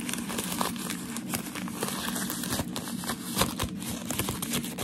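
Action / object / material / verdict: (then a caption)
scrape / thin crumpled wrapping paper / paper / none. Thin, white, crumpled shoe-packaging paper is held up in both hands while fingertips and medium nails rub, scratch and crinkle the creased sheet. The result is a steady stream of dense, crackly crinkling with bright, papery highs and a few sharper scratches poking out of the texture.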